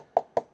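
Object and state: Hollow empty cardboard box.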